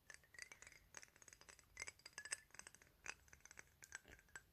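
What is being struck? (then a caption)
Glass perfume bottle. Fingertips and nails tap quickly across the surface and edges of a rectangular clear glass 100 ml perfume bottle with a "Paris" label, hollow and holding liquid. The result is a quiet, irregular stream of many short, bright clicks and clinks, each dying away almost at once, with a faint rubbing texture between taps.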